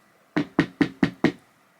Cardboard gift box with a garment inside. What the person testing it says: It does have the cardigan inside as well, so that will impact like the noise